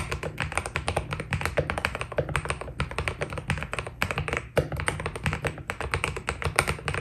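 A white Keydous NJ80 mechanical keyboard with PBT plastic keycaps is typed on by the fingertips of both hands. The result is a fast, steady stream of short, dry keystroke taps, with a deep, thocky low end and crisp, bright clicks that die away almost instantly.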